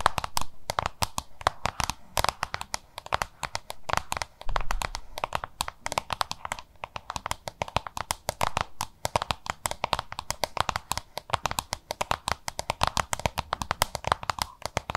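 Long nails tap and scratch a small, hollow, oval yellow-green plastic lunch box. The result is a rapid, dense stream of crisp clicks mixed with short scratchy swipes. Each tap is a dry, hollow plastic tick centered around 1 kHz with some bright edge, dying away almost instantly.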